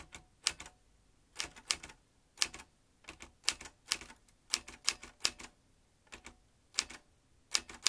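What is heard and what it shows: A vintage metal manual typewriter, with its metal typebars and ribbon spool, is typed with fingertips. Sharp, bright clacks come in quick bursts with short pauses between them. Each strike dies away almost at once, with very little low end.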